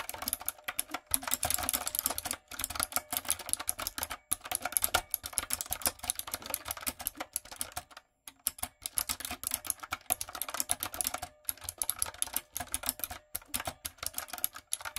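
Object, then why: Mechanical keyboard with round plastic keycaps. Fingertips and long nails type quickly on a light-up, retro typewriter-style mechanical keyboard with round plastic keycaps. Dense runs of crisp, bright plastic clicks with sharp, instant decay are broken by brief pauses, the longest near the eight-second mark.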